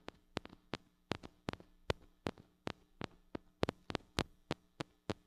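Long acrylic nails tap on the metal mesh grille of a small gold-colored mini microphone with a metal body and hollow head, held in one hand. The result is a quick, irregular string of sharp, dry clicks that die away almost instantly, each a bright tick over a faint low hum.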